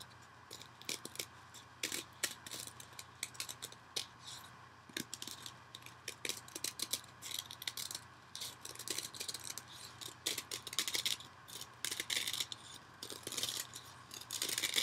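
A dry, porous, soft rectangular yellow cellulose kitchen sponge is held in one hand over an orange bowl and scratched across its surface with the other hand's fingernails. The result is a steady run of many quick, crisp, bright scratching clicks with almost no low end. They grow somewhat denser and louder toward the end.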